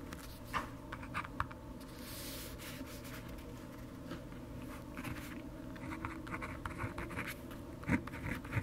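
A pen held in the fingertips writes on an open lined paper notebook lying on a desk, its tip scratching over the flat, thin paper. Quiet, irregular scratchy strokes and soft taps sit over a steady low hum, with a few sharper clicks standing out.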